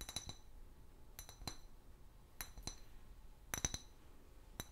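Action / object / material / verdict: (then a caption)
tap / clear glass bottle / glass / none. An empty, large, hollow clear glass liquor bottle with a paper label is tapped with long fingernails in 12 quick taps, grouped in small clusters. Each tap is a sharp, bright glassy clink with a brief high ring that dies away almost at once, over a quiet low background hiss.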